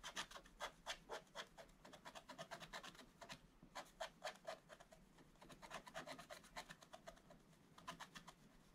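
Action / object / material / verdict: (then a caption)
scrape / coated scratch-art paper scratched with a wooden stylus / coated paper / none. A wooden stylus scratches a black-coated scratch-art picture page in continuous strokes. The result is a quiet run of short, dry, rasping scrapes in an uneven rhythm of roughly two per second, bright and hissy with almost no low end, and each stroke stops without ringing.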